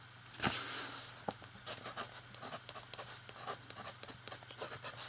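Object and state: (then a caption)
Pen nib writing on notebook paper. A metal fountain pen writes on the page of an open lined paper notebook while the other hand rests flat on the page, its nib scratching the paper. Quiet, bright scratchy strokes come in a quick irregular series over a faint steady low hum, with a louder rustling swell near the start.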